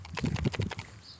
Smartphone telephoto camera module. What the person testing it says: That's actually not a bad thing. It's the optical image stabilization of the telephoto camera.